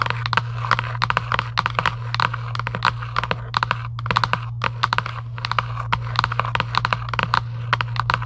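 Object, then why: Cardboard box. Long acrylic nails rapidly tap and scratch a hollow Giant UNO cardboard game box lying flat. The result is a fast, uneven stream of short, dry, bright clicks that die away instantly, over a steady low hum.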